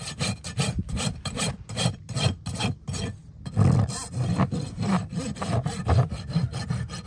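A steel rasp is pushed back and forth across a solid keratin horse hoof wall resting on a metal hoof stand, sending shavings flying. Rough, gritty rasping strokes repeat in quick succession, heavy in the low end with a bright scraping edge. After a brief pause midway, the strokes resume slightly louder.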